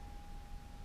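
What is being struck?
Nothing is struck.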